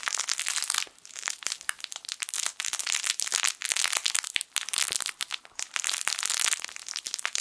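A yellow, sun-shaped soft fabric crinkle toy with crinkle film inside is crushed and squeezed with fingertips. It gives a steady stream of bright, dry crinkling and crackling with sharp little snaps and almost no low end, pausing briefly around the one-second and four-and-a-half-second marks.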